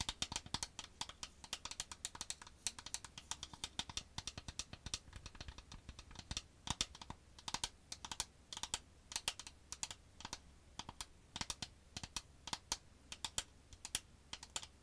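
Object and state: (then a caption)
Cardboard box tapped with fingernails. Long white acrylic nails tap on the faces of a small, hollow, square printed cardboard Revolution Soap Styler box held in both hands. The result is a rapid, irregular run of dozens of dry, bright clicks, each dying away almost instantly, over a faint low hum.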